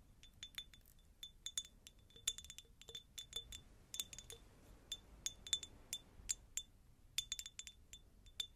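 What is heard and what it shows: A medium, hollow, empty faceted cut-glass jar is tapped with long nails in a quiet, irregular series of quick taps. Each tap gives a bright, glassy clink with a clear high ring near 3.5 kHz that dies away almost at once, with little low-end body.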